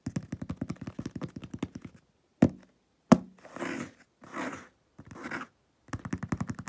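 A medium hollow cardboard shipping box with tape and labels, resting on a wooden table, is tapped and scraped on its top with nails and fingertips. Quick runs of light, hollow taps open and close the clip. Between them come two sharper thunks and three longer, soft scratching passes over the surface.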